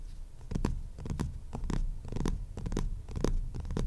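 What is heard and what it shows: Short fingernails scratch the maroon cloth cover of a hardcover book in quick, uneven strokes. Each stroke gives a soft, dry scraping burst with brief bright streaks over a steady low rumble.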